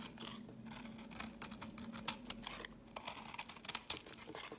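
A metal blade scrapes and carves crumbly pieces from a solid pinkish marbled soap bar with blue flecks, held in the fingers. Dry, bright scraping strokes and crisp crumbling flicks repeat in quick, uneven bursts over a faint steady low hum.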